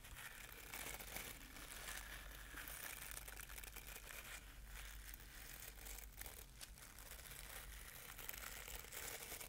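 Fingertips and nails scratch and brush over the dense dark bristles of a hand-sized wooden paddle-style hairbrush held close to a binaural microphone. The result is a continuous, crinkly, bright scratching texture over a steady low hum, staying at an even, quiet level throughout.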